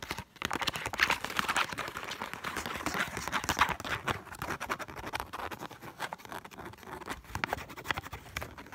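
Long black, red and silver acrylic nails scratch and tap quickly across a single thin, flexible Egyptian paper banknote held up in both hands. The result is a dense, irregular stream of crisp, papery ticks and rustling scratches, bright in tone with little low end, each tap dying away almost instantly.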